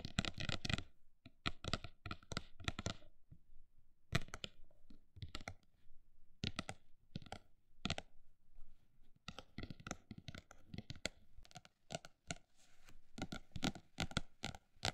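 Long black nails tap and lightly scratch the solid, flat, embossed and textured printed cover of a medium hardcover notebook. Bursts of quick, dry clicks alternate with slower, spaced taps, each one short with almost no ring, over faint scratching between them.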